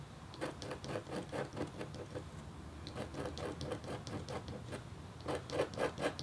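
The metal tip of a red stylus makes short scratches across a thin, solid, flat black-coated copper-foil scratch art board. Quiet, uneven bursts of dry scraping come at a brisk pace, each with a scratchy midrange tone around 500 Hz and faint bright edges over a low background hum. The strokes grow a little louder near the end.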